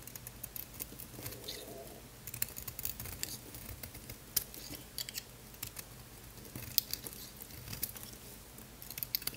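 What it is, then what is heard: Bar soap being carved. A small, solid pink Lux bar soap, almost fully unwrapped and held in the hand, is scraped and carved by a utility knife blade. Dense, crisp, crunchy scrapes and clicks crackle steadily over a low background hum, with sharp bright snaps standing out. Shavings come off its surface.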